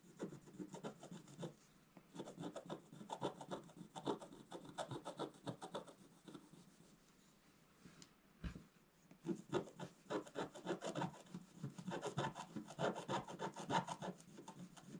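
A wooden stylus scratches a flat black-coated scratch-art card where a bed canopy is being drawn. Fast, uneven bursts of dry rasping come in two stretches, with a brief pause around the middle and a single sharper scrape just before the second stretch.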